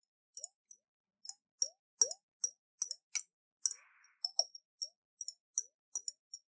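A round hollow glass jar with a metal lid, partly filled with water, is shaken in the hands, making the water slosh inside. About twenty short, bright plops and liquid clinks come in an uneven rhythm, each with a quick upward-gliding gurgle underneath and almost no ring after it. One longer burst includes a brief soft fizzy splash.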